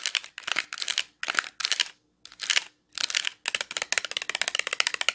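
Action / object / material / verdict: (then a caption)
tap / clear plastic clamshell package with wax cubes / plastic / none. Long nails tap and scratch a small clear plastic clamshell package filled with dark wax melt cubes. Bursts of quick, bright, crinkly clicks come in short flurries separated by brief silences, then settle into steady rapid tapping.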